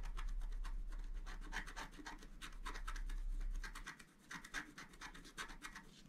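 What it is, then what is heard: Scratch art paper card being scratched. A flat scratch art sheet with a black coating on paper is scratched repeatedly with the tip of a wooden stylus while the other hand holds it flat. Quick, rhythmic bursts of dry, bright scraping repeat over a low steady hum, which fades out partway through and leaves the quieter strokes more exposed.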